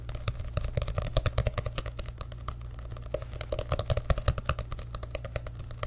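Fingertips tap quickly on the paper pages and cover of an orange and yellow paperback book held close to the mic. The result is a rapid, uneven run of short, dry clicks with bright edges over a steady low hum.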